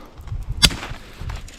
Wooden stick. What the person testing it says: faut que ça craque. Faut entendre le son. Faut que ça craque. Si ça craque pas, c'est parce que c'est pas sec.